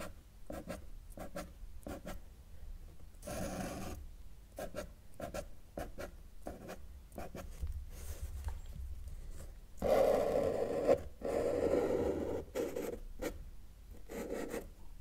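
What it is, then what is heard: Marker drawing on paper. A felt-tip marker draws tree and line strokes on a flat sheet of thin, solid white drawing paper, its tip rubbing the surface. Quick, short scratchy strokes repeat in a loose rhythm, broken by a few longer, louder rubbing strokes. The sound is a dry, soft scratching with a midrange tone.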